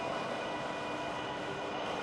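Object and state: Nothing is struck.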